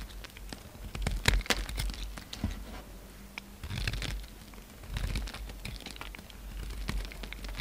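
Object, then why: Bar of soap shaved with a blade. A utility knife blade shaves chunks and flakes from a narrow piece of solid orange soap held in the hand. Quiet, crisp scraping and crumbly crackles come in quick bursts over a faint low hum, with a few sharper, brighter snaps.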